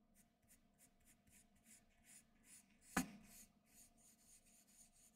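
A graphite pencil held in the fingertips scratches fine lines across a flat white sheet of drawing paper on a desk. A steady run of soft, bright scratching strokes is broken by one sharp, brief tick partway through, then the quiet strokes continue.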